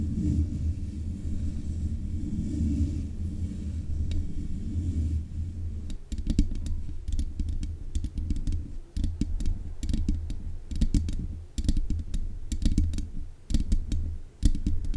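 Long nails tap the metal mesh grille on the head of a black USB condenser microphone, producing clicky, typing-like sounds. A steady, muffled low rumble fills the first six seconds, then rapid, irregular taps follow, each a short, deep thump with a faint bright click on top.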